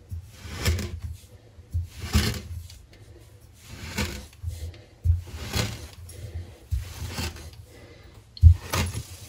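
A metal cleaver blade is pressed down repeatedly through a solid, flat slab of green kinetic sand stamped with patterns, slicing it again and again. Each cut gives a soft, low, muffled crunch with a short, dry hiss that fades quickly. The cuts come at an uneven pace in a quiet setting.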